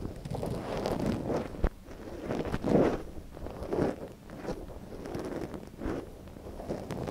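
A thin wooden stick, held in one gloved hand, scratches inside the canal of a small, soft silicone ear on a binaural microphone. The result is close, muffled rustling and scraping, mostly low and midrange. It comes in uneven bursts with a few sharp ticks.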